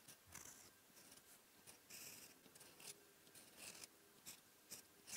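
A silver steel fountain pen nib, guided by fingertips, scratches across a flat sheet of white lined writing paper on a desk while writing Korean characters in ink. The sound is quiet, dry, high-pitched scratching in short bursts of pen strokes, with bright hiss and almost no low end.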